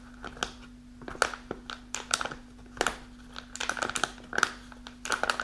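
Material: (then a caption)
Kraft paper. A kraft paper snack pouch rests on a table and is then held while long nails scratch its folded top and front. The result is a series of sharp, dry crinkles and scratchy bursts with bright edges, set over a faint steady low hum.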